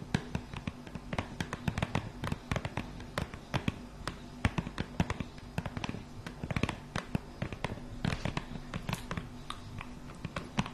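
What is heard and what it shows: A flat, printed pink cardboard box for Magic Ice Globes, about 20 cm wide, hollow and probably holding the product, is held up close and tapped and scratched with long painted nails. Dense, rapid clicky taps and scratches run throughout over a low, steady background hum, each hit short and dry with almost no ring.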